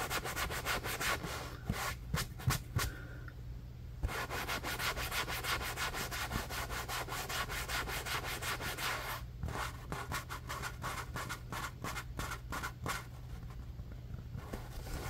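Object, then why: Foam sponge. Fingertips and nails rub and scratch the surface of a large, soft yellow foam sponge held in the hands, making a steady dry rubbing with quick bright scratchy strokes over a constant low hum. The strokes come in uneven bursts, easing briefly into a quieter, duller rub before picking up again.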